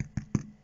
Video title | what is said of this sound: Faire du Pain Facilement. | Et s'il fait ce bruit-là, il sonne creux.